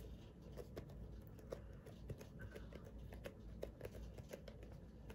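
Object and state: Plastic lotion pump bottle.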